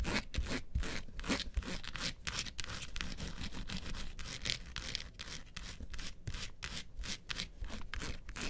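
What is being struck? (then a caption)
Small hard-shell plastic vanity case. Long pointed nails scratch and tap the sides and front of a small, hollow, mint-green hard-shell plastic vanity case (a mini suitcase) standing upright with its handle facing forward. A steady, bright, rasping scratch runs throughout, broken by quick, dry taps with a hollow low-end thump from the shell.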